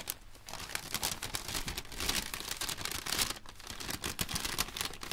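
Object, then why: Thin paper popcorn bag. An empty striped popcorn bag made of thin paper is flicked open and crinkled by white cotton-gloved hands. Dense, bright crackling and crumpling rustles run continuously, with sharp snaps scattered through them.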